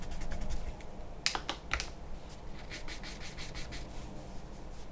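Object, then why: Charcoal pencil on a paper sheet over a wooden table. A charcoal pencil scratches strokes onto a large white drawing paper sheet resting on a wooden table. Dry, papery scraping comes in short bright bursts, with a few sharper taps near the middle over a steady low background rumble.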